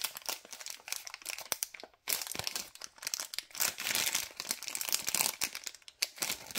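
The end of a white LDPE plastic bag holding cable ties is crumpled and crinkled between fingers. It makes dense, bright crackling with sharp crinkles that fall off almost instantly and nearly no low end. There is a brief pause near the two-second mark before the crinkling resumes.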